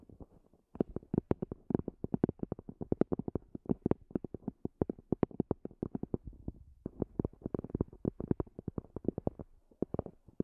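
Long fingernails tap rapidly on the top of a small, hollow black zippered EVA hard-shell earphone case with a semi-rigid shell and fabric cover. Dozens of short, dry clicks come in quick, uneven bursts, with a brief pause near the end. Each tap is hollow and woody with almost no ring.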